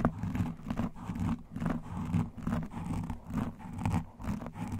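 Both hands scratch and massage a black foam microphone windscreen up close with fingertips and nail rings. The result is a muffled, low, rumbling scratching in uneven rhythmic strokes, with brief brighter scratchy bursts over a dense, bass-heavy rub.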